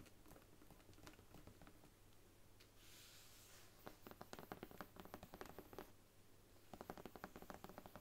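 Long nails tap and scratch along the embossed brown faux leather spine of a thick Bible standing upright. Soft, dry clicks come in quick irregular flurries, with a brief bright scratching hiss early on, over a steady low hum. The taps grow denser and slightly louder in the second half, each one short with almost no ring.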